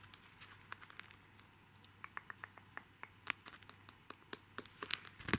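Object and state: Plastic sticker sheet in a clear plastic sleeve.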